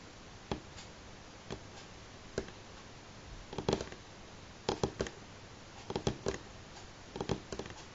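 Slow, single fingernail taps on a solid light pine tabletop make short, dry clicks with a woody knock around 390 Hz. The taps fall at uneven intervals, isolated at first and then in small clusters, against a quiet background.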